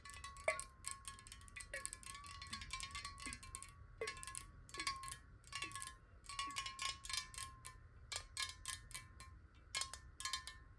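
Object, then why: Glass bottle partly filled with water. A clear square glass water bottle, partly filled with water and held horizontally, is tapped rapidly with long nails. The result is a quick, continuous patter of bright, clicky taps over a steady glassy ringing tone around 1 kHz, with each tap decaying fast.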